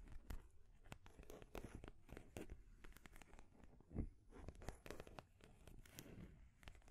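Long grey nails scratch and tap along the edges of a painted wooden stacking ring toy, its solid painted wooden rings stacked on a peg under a wooden ball top. The clip is a quiet stream of short, dry clicks and scratchy rasps with a low, dull body, plus one louder knock near the middle.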